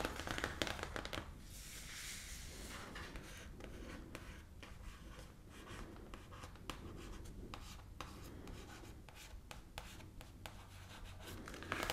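Fingertips and medium nails of both hands scratch, rub and tap the glossy printed cardboard cover of a large, thick, closed hardcover pop-up book (Harry Potter Guide to Hogwarts) lying flat on a wooden table. Quiet, dry scratching and rubbing runs throughout, broken by many short, sharp taps and a brighter swell of rubbing near the start.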